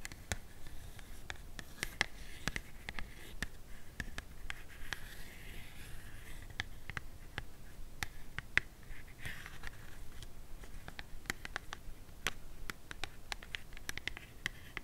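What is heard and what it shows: Long matte black nails scratch and tap on a small, hollow, empty, open-ended white cardboard box sleeve. Quick, sharp clicks with almost no ring stand out over a steady, faint papery scratching that brightens around 2 kHz.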